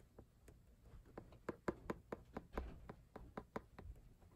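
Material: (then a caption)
Cardboard. Fingertips and nails tap and knock near the corner of a laminated cardboard hardcover album cover, on its lower teal section, while it is held in the hand. About fifteen short, dry, hollow knocks come in an uneven rhythm, each dying away almost at once with no ring, over a quiet background.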